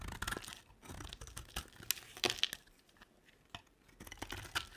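A utility knife blade carves and scrapes a rectangular, olive-green bar of dry solid soap. The cuts make crisp, bright scraping and crackling sounds in short bursts, with a few sharper snaps and quiet pauses between strokes.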